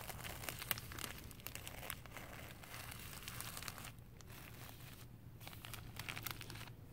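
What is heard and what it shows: Thin clear plastic sheeting wrapped around a green carpet roll is grabbed, crinkled and rubbed with fingers and long painted nails. Dense, bright crinkling and crackling runs throughout with sharp snaps, easing slightly in the middle before picking up again, over a low steady hum.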